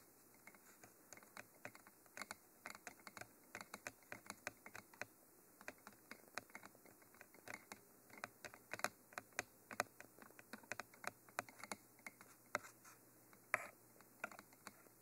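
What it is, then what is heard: Textured cylindrical microphone body, fingernail taps. Fingernails tap the cage ends and lower body of a Mitra textured black cylindrical binaural microphone, a hollow textured cylinder. The result is a steady patter of dozens of quick, dry, light clicks with a bright edge and almost no ring, like fast typing.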